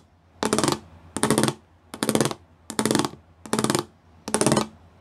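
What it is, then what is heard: Studded plastic panel. Fingertips and nails tap and scratch across a flat grey plastic sheet covered in rows of small raised square pyramid studs. Six separate bursts of rapid, dry clicking and scratching sound bright and crisp, each lasting under half a second with short quiet gaps between them.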